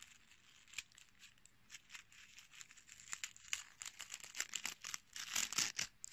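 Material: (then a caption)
Dried petals. A small, solid, brittle dried dark-red rose head with green dried sepals and a short stem is held in the fingertips and squeezed and crushed between fingers and nails. It makes a rapid, irregular run of bright, crunchy crackles and snaps with little low end. The crackling grows denser and louder toward the end.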